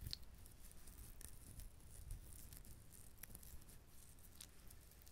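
Fingernails tap and scratch the ridged, hard shell of a whole coconut close to the mic. The result is a quiet, continuous patter of soft scratching with occasional bright, high clicks. Each tick dies away instantly over a low, rumbly background.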